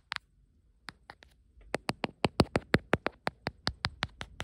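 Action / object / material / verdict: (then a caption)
tap / silicone phone case tapped with fingernails / silicone / none. Long nails tap and scratch the back and camera area of a beige ribbed silicone phone case held in one hand. A few sparse, sharp clicks give way to a steady run of crisp, bright taps, about 19 in all, each dying away almost instantly.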